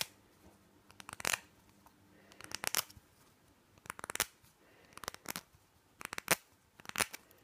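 Fingernails tap and scratch the sides of a small, hollow white plastic nasal spray bottle with a green label, held in the hand. Quick bursts of bright, dry clicks and scratchy rasps come in short clusters separated by brief quiet gaps.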